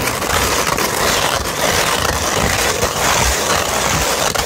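Long red nails scratch across the grit of a flat sheet of sandpaper held up. It makes a steady, dense, rough scratching with a bright hissy texture and little low end, staying loud and continuous throughout.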